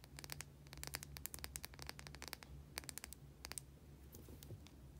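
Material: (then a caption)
Soap. Long nails scratch and tap quickly across the surface of a small white solid bar of soap held in the hand. The result is a dense run of short, dry, crisp clicks and scratches over a steady low hum.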